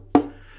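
A German violin from the 1920s, played for about 50 years, is tapped once on its wooden body. The tap gives a short, hollow knock with a low tone around 285 Hz that fades within a fraction of a second.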